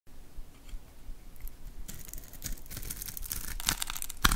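A hand-sized solid bar of orange-pink soap, pre-scored in a grid, is held in the hand and scraped and carved with a metal utility knife blade, breaking off small soap cubes. Quiet, low scraping builds after about two seconds into dense, bright crackly shaving and crumbling, with sharper snaps near the end.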